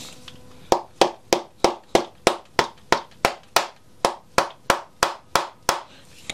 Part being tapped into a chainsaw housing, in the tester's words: глухой стук можно уже прекращать постукивать